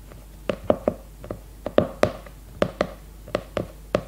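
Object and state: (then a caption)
Hardcover notebook tapped with fingernails. Long red nails rapidly tap and scratch the glossy cardboard cover of an upright leopard-print hardcover notebook. Thirteen short, hollow knocks with a midrange tone around 600 Hz die out almost at once, separated by faint scratchy pauses.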